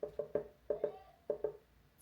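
A melon from a grocery haul is tapped seven times, each tap a short, hollow knock with a clear pitch in the mid-range around 430 Hz that dies away quickly. Judged by its sound, the melon is ripe and ready to eat.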